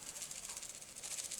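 A full packaged container of dried dandelion leaf, a guinea pig supplement in a case that keeps the contents from breaking and crumbling, is shaken. The dry leaves rattle inside in quick, repeated bursts, giving a bright, hissy shaker sound with almost no low end.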